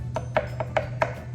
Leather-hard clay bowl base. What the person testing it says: if you tap it and it sounds like something that's Hollow like a piece of plastic you know you're almost all the way through